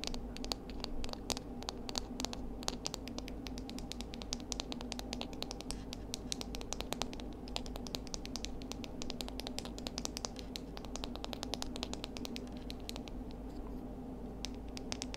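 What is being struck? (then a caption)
Seashells. Seashells are tapped rapidly for ASMR, giving a dense run of quick, sharp clicks and light scratchy taps that die away almost instantly. A steady low hum sits underneath throughout, and the overall level stays quiet.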